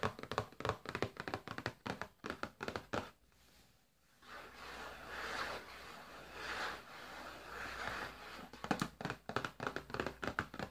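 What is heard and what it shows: A flat printed cardboard Findus frozen food box, held upright, is tapped repeatedly on its front with fingertips and nails, giving quick, dry, hollow taps. After a brief pause, a steady scratchy rustle swells and fades for several seconds before the rapid tapping returns.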